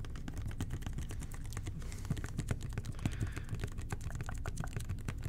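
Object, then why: Plastic toilet cleaner bottle. A hollow red and white plastic toilet cleaner bottle with a blue nozzle is tapped with the fingertips of both hands. It makes a rapid, steady stream of soft, dull, hollow taps that are mostly low and thumpy, each dying away almost at once.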